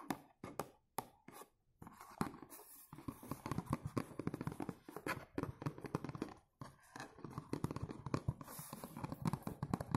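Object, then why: Cardboard perfume box. Fingertips tap and scratch the front of a dark blue cardboard perfume box held upright. A few separate dull, low taps open the clip, then a dense run of quick tapping and soft scratching follows. Each hit is dry and dies away almost at once.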